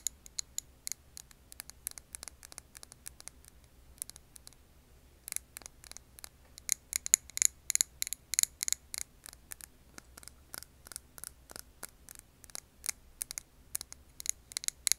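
Long nails tap the glass of a medium glass candle jar filled with wax and held on its side. The result is a quick, irregular run of sharp, bright clicks that stop almost instantly, broken by a short pause around the four-second mark, over a faint low hum.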